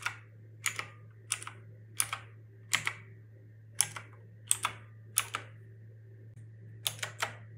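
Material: Plastic.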